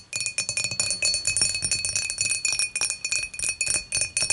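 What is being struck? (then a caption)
Glass beer mug. Long matte fingernails on both hands tap quickly across the top of an empty, clear, dimpled glass beer mug lying on its side. The result is a steady run of bright, high glassy clinks, each with a short ring and a faint sustained tone beneath.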